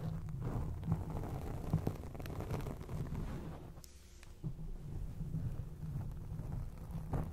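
Long acrylic nails scratch a grey foam microphone windscreen, producing a dense, muffled rumbling scrape concentrated in the low end. The texture is steady and crackling, with a few sharper scratches standing out, a brief quieter lull around the middle, and the scratching resuming to the end.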